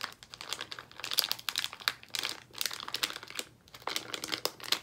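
A yellow Haribo Fruit Salad plastic bag full of gummies is squeezed and crinkled with the fingers of both hands. The result is a continuous stream of bright, sharp crinkling and crackling bursts with brief pauses between squeezes.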